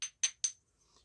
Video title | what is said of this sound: Unboxing purchases from our great friend Danny Collins Flintknapping Traditions. 😃👍😍💕😜 | if you just tap this, it's got a beautiful ring to it.